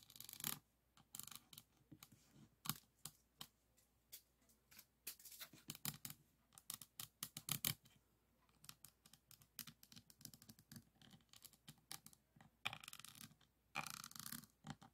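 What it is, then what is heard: Resin diamond painting board. A pink plastic diamond-painting pen tip is scratched and tapped over a resin diamond painting board covered in resin drill beads, lying on a table. The result is a quiet, bright, dry series of short clicks and scratchy rasps, with a few denser bursts of rapid scratching.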